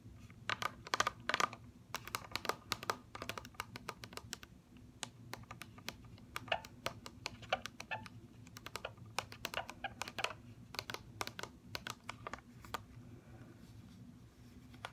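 Long fingernails tap rapidly on the clear plastic bubble of an upright mascara blister package, with the plastic set over a cardboard card. Dozens of quick, sharp, bright clicks come in uneven bursts with almost no ring. A faint low hum runs steadily underneath.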